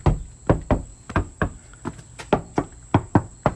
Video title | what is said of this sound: Tricked-out off-grid, stealth camper van #vanlife AMAZING! | It's solid. It feels like a brick.